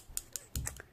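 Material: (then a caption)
Plastic. A liquid lip color tube in the shade Summer Sunset is shaken like a paint can so the little mixing ball inside rattles. Five short, sharp clicks ring out, the later ones closer together over a low thump, and they are bright and dry and die out quickly.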